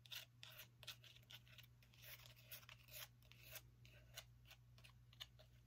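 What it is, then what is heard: Small pumpkin. Long nails tap and scratch the rind and dry woody stem of a small whole orange pumpkin held in the hand. They make quiet, crisp, bright clicks and scratchy rasps that stop dead with no ring, over a faint steady low hum.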